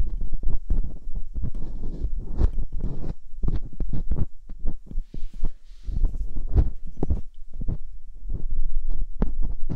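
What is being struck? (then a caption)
Silicone ear mold on a binaural microphone, scraped with a metal dental pick. Metal hooked dental picks scrape inside the canals of silicone ear molds on a binaural microphone. The result is a rapid, irregular run of short, muffled thumps and rubbing bursts, heavy in the low end, with brief faint high hiss in the middle of the clip.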